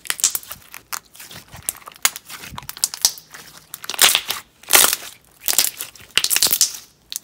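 Fingertips press, fold and squeeze a handful of clear, translucent yellow slime packed with small round plastic beads on a white table. They make crunchy popping and crackling that comes in irregular bursts with short quiet gaps. The sound is bright and crisp, with almost no low end.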